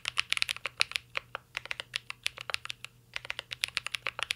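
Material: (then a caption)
Plastic. A mint-green Cyberboard R3 mechanical keyboard with a metal case and plastic keycaps is typed on continuously with fingertips, giving about 30 quick, dry, bright clacks with almost no ring. The taps come in uneven bursts with a brief pause around the three-second mark, over a faint low hum.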